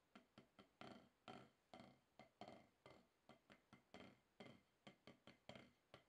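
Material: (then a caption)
Rubber. A wooden drumstick taps on a solid, octagonal HQ rubber-top drum practice pad at a slower pace. About twenty short, dry thwacks land in an uneven rhythm, some louder than others. Each one fades quickly with a little mid-range body.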